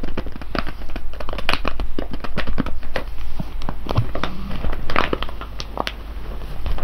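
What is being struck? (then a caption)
Foil coffee bag of whole coffee beans. A full, sealed silver foil coffee bag of whole beans rests on cloth while fingertips tap and scratch its top seam, then both hands press the bag. Dense, dry crinkling and crackling taps come quickly one after another over a steady low rumble, with the crackle growing busier as the bag is pressed.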